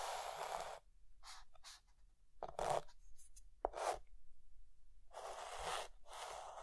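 A white chalk stick held in the fingertips is drawn across a flat dark green chalkboard to draw lines. Scratchy, hissing writing strokes come in bursts of varying length with short pauses between them, the strokes carrying a bright, gritty texture over a midrange body around 700 Hz.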